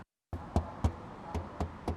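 A bare, untreated car body sheet-metal panel near the roof, where no sound deadening was installed, is knocked six times. Each knock gives a short, low, hollow thump over a steady background hum. The panel sounds empty and hollow, unlike the treated areas.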